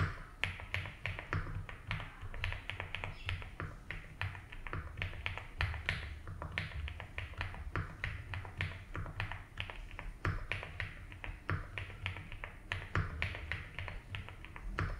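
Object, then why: Mechanical keyboard with plastic keycaps. Fingertips slowly type on a 75% mechanical keyboard with ABS keycaps in a light blue plastic case. A steady stream of short, sharp, bright taps clatters over a constant low hum, each keystroke dying away almost instantly.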